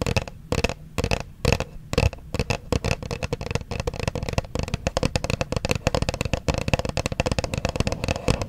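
Long nails tap and scratch the front face of a small white Versace perfume box made of printed cardboard, held in both hands close to the microphone. Dense, rapid, dry clicks and scratchy taps run throughout.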